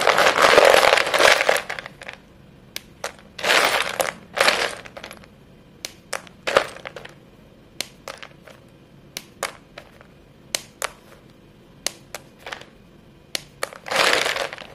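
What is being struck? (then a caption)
White chalk sticks. Chalk-dusted fingertips with painted nails snap and crush short, solid white chalk sticks piled in a clear bowl. Longer bright, gritty crumbling bursts open and close the clip and recur near the middle, with many sharp, dry snaps in between as pieces break apart.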